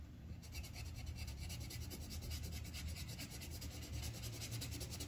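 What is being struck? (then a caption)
Paper sheet on a clipboard rubbed with a wooden colored pencil. The tip of a yellow wooden colored pencil rubs back and forth across a thin white paper sheet on a clipboard, filling in a flower petal. Quick, steady scratchy strokes pulse with a bright papery rasp over a soft low rumble, keeping an even level throughout.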